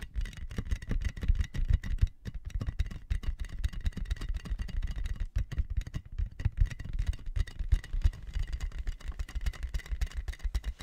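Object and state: Plastic air column cushion bag.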